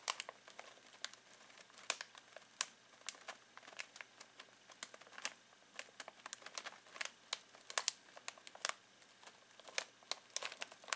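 Fingertips scratch and crinkle a full foil-plastic snack bag of pistachios. Dense, bright crackles and sharp crinkling snaps come in quick irregular bursts over a quiet background, with almost no low end.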